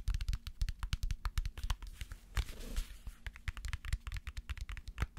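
Dozens of rapid fingertip taps land in a steady patter, each a soft low thud with almost no ring. Midway a brief brushing scratch sweeps across the surface. The dense, damped sound fits a book, whose packed pages soak up each hit.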